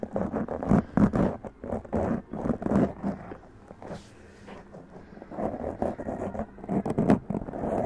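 Long press-on nails scratch fast across a black foam windscreen on a large condenser microphone, making dense, rough, muffled scraping bursts centered in the low-mids. The scratching quiets to a faint rustle in the middle, then picks back up in quick, irregular strokes.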